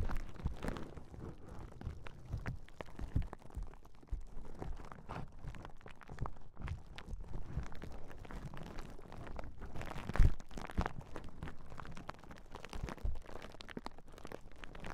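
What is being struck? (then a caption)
Plastic bubble wrap sheet. A large clear plastic bubble wrap sheet is held across the microphones while long nails and fingertips press and pop its hollow bubbles. A steady stream of soft, low, muffled thumps and crackles fills the clip, with a few sharper, louder pops standing out, most strongly near the ten-second mark.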